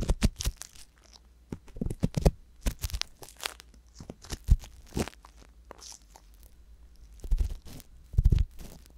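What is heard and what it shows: An ear pick scrapes inside the canal of the left silicone ear on a binaural microphone. Close, scratchy crackles and crunchy bursts come in uneven clusters over a heavy low rumble, with a louder pair of scrapes near the end.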